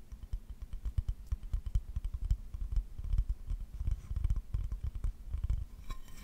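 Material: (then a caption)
Ceramic. Fingertips rub and scratch across a solid, empty glazed ceramic owl plate held near the mic, making a dense run of soft, low scrapes and taps with faint bright edges. The plate is then held up still, and the sound drops away at the end.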